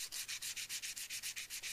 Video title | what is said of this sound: How to forge a knife Part 2 of 2 | sounds like glass on the blade and on the handle sounds a lot different